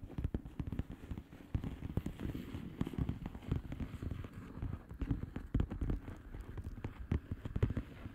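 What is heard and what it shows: Long manicured nails tap rapidly on a flat plastic bubble-wrap mailer with hollow air bubbles. The result is a dense, irregular stream of soft, dull, low taps that die away almost instantly, with almost no bright or high content.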